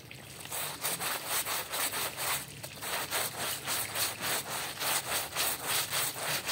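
A yellow-gloved hand scrubs a small, dark, patterned woven rug covered in soap foam with a small hand brush. Rapid, steady back-and-forth strokes make a bright, hissing, bristly scrub with a faint wet foam texture, after a brief softer pause midway.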